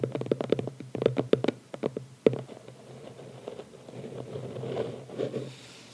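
A small, closed red cardboard gift box with a ribbon, lying on a towel, is tapped with the fingertips and short nails of both hands. A quick run of crisp, hollow taps with a dull midrange body dies away almost instantly, topped by one sharper tap near the middle. Softer scratching and brushing over the cardboard follows.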